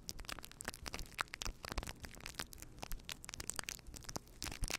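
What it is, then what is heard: Faux fur microphone windscreen being rubbed. Fingertips of both hands rub and scratch a fluffy faux fur windscreen on a microphone. The result is a dense, continuous stream of soft crackling and scratching bursts, with low rumbling thumps mixed with bright, hissy rustle. Each burst dies away almost instantly.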